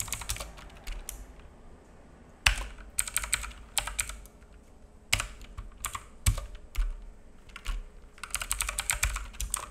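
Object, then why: Plastic mechanical keyboard. Fingertips of both hands type on a black full-size mechanical keyboard with plastic keycaps and a hollow case, resting on a wooden desk. Quick bursts of bright, clacky key taps with a hollow low thud are separated by short pauses, with a few sharper, louder strikes standing out. A faint steady hum sits underneath.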